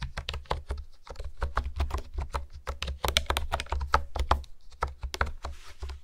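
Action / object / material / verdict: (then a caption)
tap / plastic keyboard keys / plastic / none. Fingertips type and tap on a pink plastic honeycomb keyboard with hexagonal keys, producing a rapid, uneven run of short, crisp clicks with bright edges. A steady low hum sits underneath the whole clip.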